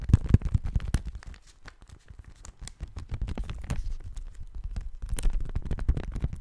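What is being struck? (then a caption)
Thin paper sheet. A thin pale-yellow sheet of paper, held in both hands in front of a microphone, is bent, rubbed and crinkled with the fingers. It makes a dense, crisp rustle of crackles and soft crinkling pops with a low, full body. The rustle starts louder, eases off in the middle, then builds again toward the end.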